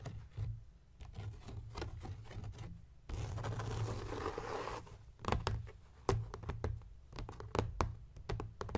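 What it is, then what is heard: Leather journal cover tapped and scratched. Fingertips and nails tap and scratch across the front cover of a closed blue embossed leather journal with a Viking ship design. Soft, dull taps scatter throughout, with a continuous brushing scratch in the middle. Sharper taps follow, all over a low steady hum.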